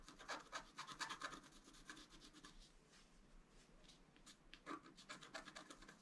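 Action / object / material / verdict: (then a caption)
scrape / black-coated scratch art paper card scraped with a wooden stylus / coated paper / none. A wooden stylus scratches across a flat black-coated scratch art paper card, etching the deer face and antler. Quick, bright, dry rasping strokes come in dense bursts at the start, thin out to a soft, steady scraping in the middle, then pick up again near the end.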